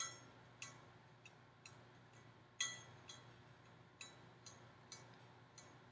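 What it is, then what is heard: Hollow metal decorative pumpkin. A hollow gold-finished metal decorative pumpkin with ribbed segments and a wire stem is tapped with long painted nails. Nine light, irregular taps are heard, each a bright, thin metallic click with a brief ring that fades quickly. A faint low hum sits underneath throughout.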